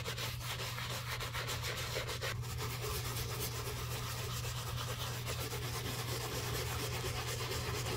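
A bristle brush scrubs a black leather shoe coated in soap foam, working over the heel, the side and the collar rim. The result is a steady, wet rubbing hiss with bright, rapid bristle strokes over a constant low hum, holding an even level throughout.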